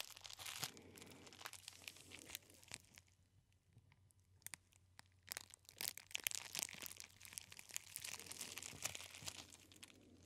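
A hand-sized roll of clear plastic bubble wrap with hollow air-filled bubbles is held close to the ear and squeezed and scratched with the fingertips. It gives dense, bright crinkling and crunching with many sharp clicks, quieter in the middle stretch, over a faint low hum.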